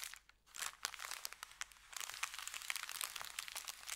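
Fingertips rub and tap an empty, folded, thin kraft paper bakery bag resting on felt. The result is a dense run of bright, dry crinkles and quick crackling ticks that stop instantly, with almost no low end and a brief quieter gap near the start.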